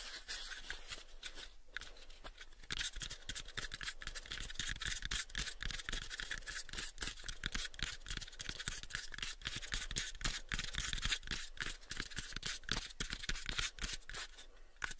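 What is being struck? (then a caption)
Unfinished wooden box. Fingernails scratch and tap with both hands on a pale, unfinished, hollow wooden box about a 7-inch cube. The result is a fast, irregular run of dry clicks and scratchy, bright rasps over short, hollow low thumps that die away almost at once.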